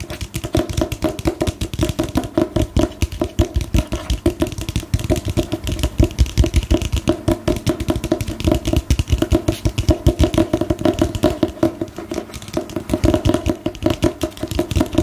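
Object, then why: Book with a glossy paper cover. A solid book with a glossy paper cover is tapped and scratched with long nails. The result is a steady stream of quick, dull, low-heavy taps with very little ring, mixed with soft scratching across the cover for the whole clip.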